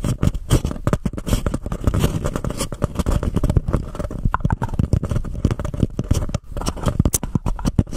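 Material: Paper.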